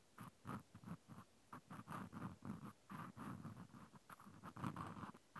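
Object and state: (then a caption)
Plastic clothespin. A cotton swab scratches inside the hole of a white plastic clothespin with a metal spring, held in one hand. A quiet run of short, soft, scratchy rubbing strokes repeats with brief gaps, carrying a dull low body and a faint hollow tone.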